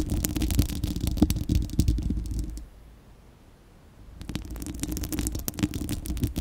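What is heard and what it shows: Long acrylic nails of both hands scratch the bare, hollow, fist-sized spherical steel wire-mesh grille of a microphone, making a dense, rapid, uneven scraping with a deep, boomy low end and a steady hum-like tone around 300 Hz. The scratching stops for about a second and a half near the middle, leaving near silence, then resumes and continues to the end.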